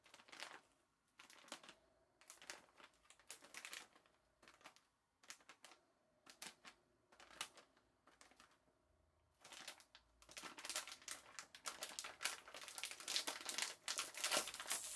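A palm-sized, full and sealed green printed plastic-film bag of Korean military hardtack (geonppang) is gripped in both hands, crinkled with the fingers and torn open at the top. Bursts of bright plastic crumpling come in irregular clusters at first, then build into a denser, louder run of crinkling toward the end.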